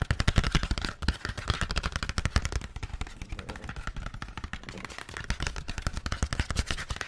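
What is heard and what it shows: Fingertips and nails rapidly tap and scratch the surface of a flat, printed paperboard screen-protector package, hollow and hand-sized, held close to the mic. The result is a dense, irregular stream of short, dry knocks with a deep, hollow thump and a light papery scratch on top.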